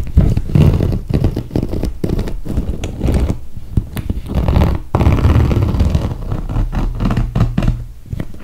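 Long red nails tap and scratch the clear plastic top of a clear PVC toiletry bag full of makeup, lying on its side. Dense, close, low thudding taps mix with soft scraping and crinkling. The sound is dull and muffled, with almost no bright content and very short decay.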